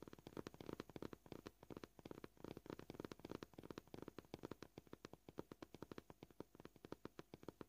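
Short purple-painted fingernails of both hands tap the top of a white, scratched, solid flat plastic cutting board at a varying pace. The taps come as a dense stream of quiet, dry clicks with a low-mid body and almost no ring. They are sometimes bunched in rapid flurries and sometimes spaced apart.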